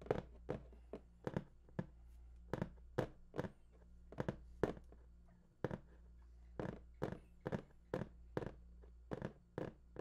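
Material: Cardboard.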